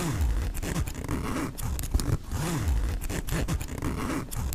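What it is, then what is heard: Nylon backpack zipper. Fingertips slide the metal pull of the front pocket zipper on a black mesh nylon backpack open and closed along the pocket. The result is a steady stream of raspy zipping strokes with a deep, rumbling low end and arching pitch sweeps as the pull moves back and forth.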